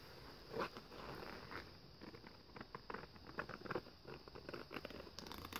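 Bare fingertips of one hand, wearing a ring, lightly tap and scratch across a sparkly, glitter-coated, dark printed paper page in a thin handmade scrapbook-style book lying open on a fluffy blanket. The result is quiet, crackly scratching and soft, quick-fading taps, with brighter gritty bursts over a low hiss.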